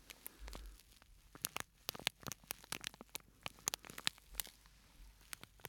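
A small, flat, purple-and-white printed plastic scent sachet with a granular filling is held close and squeezed and tipped so the contents shift inside. It gives a quiet, steady run of crinkly, sandy crackles and sharp, bright ticks, mostly high in pitch with very little low end.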